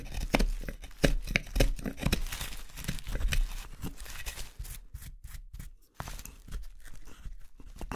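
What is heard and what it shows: A hook knife or gouge scrapes out the hollowed interior of a solid pale wooden spoon bowl held in the hand. The strokes come as short, dry, crackling scrapes at an uneven pace, each with a brief rasping tearing quality and almost no ring. Toward the end the cuts grow lighter and quieter.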